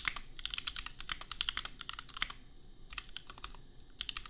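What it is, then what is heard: Mechanical keyboard with plastic keycaps. Fingertips of both hands type on a compact $250 custom mechanical keyboard with Gateron Milky Yellow switches and red/pink plastic keycaps. It makes a steady stream of quick, bright clacks with very short decay over a faint low rumble, with a few brief pauses between bursts.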